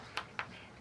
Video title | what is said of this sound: 40 Stone Tools 1 v2 | when it's really thick you can't hear much of the metallic ring